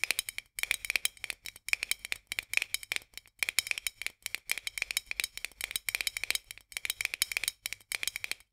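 Long nails tap rapidly on the edge of a white metal lid on a full glass jar, making quick bursts of bright, dry clicks. The taps carry a steady metallic tone near 2.4 kHz, stop almost instantly with no ring, and come in rattling clusters separated by brief pauses.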